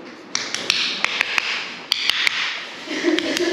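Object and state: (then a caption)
Hollow-sounding old floor tiles. Old ceramic floor tiles in a room are tapped to sound them, giving eleven short, sharp, bright taps that die away almost instantly over a steady hiss. The tiles sound hollow, so new tile cannot be glued over them; all the old tiling is to be broken up and a leveling screed applied.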